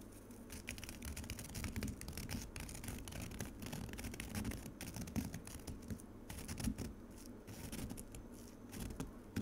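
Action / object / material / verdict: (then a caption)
scrape / frozen pomegranate juice in a plastic container / ice / none. Long acrylic nails scratch across frozen pomegranate juice in a white plastic container, scraping up icy shavings. The result is a steady, dense, crackly scratching with a low body and quick bright grainy bursts, and no ringing after each stroke.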